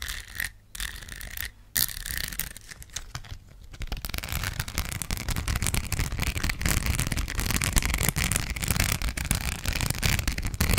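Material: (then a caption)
Plastic rhinestones. Long black nails scratch the surface of a thin, curved gold rhinestone sticker sheet. Sparse, gritty scratches with brief pauses in the first few seconds give way to a dense, continuous rasp of rapid strokes. The scratching has a low, rumbling body and a bright, crackly top.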